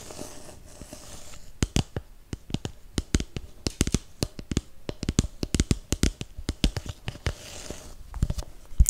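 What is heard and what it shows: A hollow, empty red snowflake paper cup is tapped with nails and fingertips, giving a quick run of sharp, dry clicks with very short ring over a soft hiss. Near the end it is squeezed until the wall dents, adding a brief crinkling crunch.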